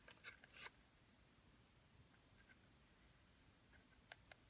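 Long painted nails tap and scratch the surfaces of a small, hollow, printed cardboard toy box held in both hands as it is turned over. Crisp, bright clicking taps cluster at the start and return near the end, with a quiet stretch of soft scraping and low background rumble in between.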